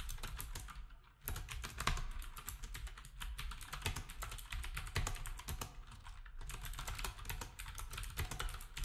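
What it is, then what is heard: Plastic keyboard being typed on. Fingertips of both hands type steadily on a black, retro typewriter-style keyboard with round plastic keycaps. Rapid, overlapping clacks and bright clicks ring over a low thudding base, with a brief pause just after the first second and another near six seconds.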